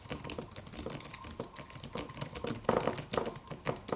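A slim silver aluminum computer keyboard with white plastic keys and a solid low-profile body is typed on with the fingertips of both hands. The result is a steady, fast stream of short, light clicking taps with brief decays. A few keystrokes land louder and crisper, with a faint midrange tone under the clicks.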